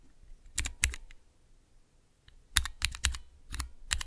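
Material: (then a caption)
Plastic. Slow single key presses with fingertips on a small, clear plastic Cherry MX keycap switch tester, a mechanical switch tester with transparent keycaps. Each press gives a short, sharp, bright clack with a low thump underneath, arriving in loose clusters separated by brief quiet gaps.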